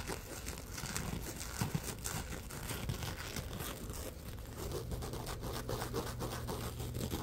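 A palm-sized glitter-coated scrubber sponge with a rough gold glitter surface is rubbed and scratched with fingertips and short nails. The result is a steady, dense crinkly scratching and rustling over a low background hum, with a few brief louder scrapes and a slightly fuller rubbing texture in the second half.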